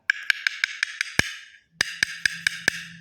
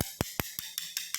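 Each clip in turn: First: hollow-sounding floor tile with no mortar underneath. Second: solidly bonded floor tile.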